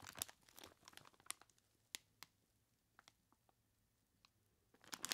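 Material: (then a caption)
Plastic, ice. Gloved hands grip and squeeze a large clear plastic bag, tied at the top and full of ice cubes. The plastic crinkles brightly and the ice crunches and clicks in dense bursts at the start and end, with sparser, quieter crackles in between.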